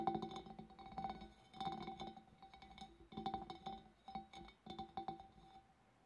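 Long black nails tap the scalloped rim and sides of a large, empty, clear glass fish bowl. The bowl answers with quick clusters of clinking taps, each carrying a short ringing tone near 770 Hz with bright overtones. The taps come in uneven bursts that fade quickly between groups.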